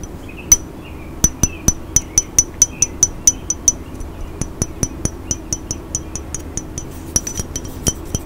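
Fingernails tap a hollow, dark glass cologne bottle with a silver spray top close to the microphone, making about 31 quick, bright clinks. The clinks ring high and die out almost instantly over a low steady hiss.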